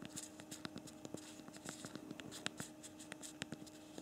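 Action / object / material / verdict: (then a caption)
tap / smartphone with physical plastic keyboard / plastic / none. Thumbs press the keys of a BlackBerry Priv smartphone's physical plastic QWERTY keyboard while typing a message, making a quick, irregular run of soft, short, bright clicks. The clicks are quiet and dry with almost no ring, over a faint steady low tone.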